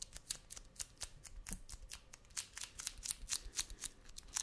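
A wide roll of brown kraft paper packing tape with a cardboard core, held in one hand, is tapped and scratched on its outer surface with fingertips and nails. About two dozen quick, unevenly spaced, crisp taps and scrapes are heard. Each one is bright, dry and papery with almost no ring, over a faint low rumble.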